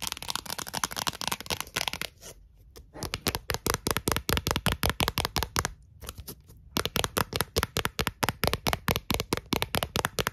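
Long acrylic nails tap and scratch the surface and rim of a thin, clear, round plastic Pringles lid held in the hands. Rapid, sharp, bright clicks come in dense bursts with short pauses between runs, each tap dying away almost instantly.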